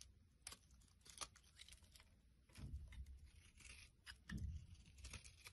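A utility blade shaves flakes off the surface of a solid pale yellow soap bar held flat in the palm. The sound is a quiet run of crisp, dry scraping and tearing strokes with bright rasping edges. Two fuller, lower-weighted passes swell up near the middle and toward the end.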